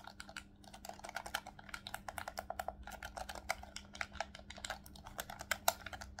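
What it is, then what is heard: Plastic game controller buttons. Fingertips rapidly click the shoulder buttons and triggers of a hollow black plastic Nintendo Switch Pro controller held in both hands. The result is a dense run of short, sharp plastic clicks with a bright edge and almost no ring, over a faint steady low hum.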